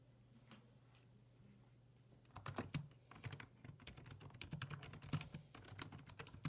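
Fingertips type on the hollow plastic keys of a black, full-size plastic computer keyboard resting on a wooden desk. After a mostly quiet opening with a single tap, a rapid run of short, clicky keystrokes with dull low thumps begins about two seconds in. A steady low hum sits underneath throughout.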